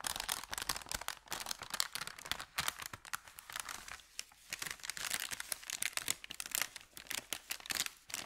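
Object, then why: Thin kraft paper bag. An empty, thin, crumpled kraft paper bakery bag is held at its edges while fingers bend and crinkle it. The result is a dense, continuous stream of sharp, bright crackles and rustles with almost no low end, rising and falling in bursts over about eight seconds.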